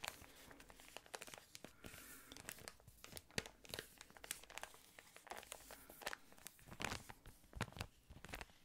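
A yellow patterned thin plastic ice cream wrapper is crinkled and scratched with fingernails. Dense, irregular crackles and sharp bright snaps repeat over a soft hiss. The result is a continuous close-up crinkling texture with frequent louder pops.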